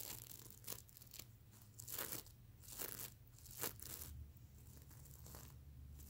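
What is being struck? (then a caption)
Plastic sequin pillow. Fingernails scratch across a soft, stuffed mermaid unicorn plush pillow covered in reversible plastic sequins, flipping the sequins. Bursts of bright, crinkly scraping and clicking rise and fall over a low, steady hum.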